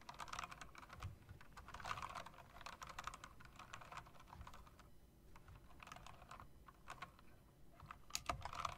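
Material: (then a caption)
Plastic. Fingertips and long nails press and tap the keys of a typewriter-style mechanical keyboard with round plastic keycaps and metal rims. A quick, uneven run of sharp clicks is heard, each with a bright, clattery edge and a brief dull thud underneath. Each click cuts off almost at once, with a short lull midway before the tapping picks up again.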